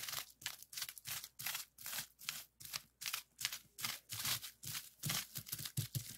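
A flat sheet of clear plastic bubble wrap lies on a desk while its hollow bubbles are rapidly pressed and popped with fingertips. The result is quiet, irregular bursts of sharp, bright crackling pops with crinkly plastic rustle between them. Each snap dies away almost instantly.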